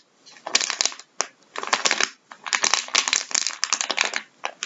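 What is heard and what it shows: Gloved fingertips press and crinkle a flexible plastic bag of vinyl gloves lying on a wooden table. The result is bright, crackly bursts of crinkling separated by brief pauses, with almost no low end and no ring after each press.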